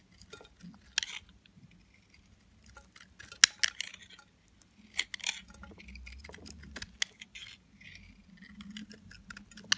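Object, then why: Bar of soap scraped with a metal blade. A metal utility knife blade shaves and scrapes curls and flakes off a solid, hand-sized white Lux bar soap, dry and hard, held in one hand. Quiet, bright, crisp scraping and clicking cuts come in short bursts with no ringing, the sharpest snaps standing out above a faint low hum.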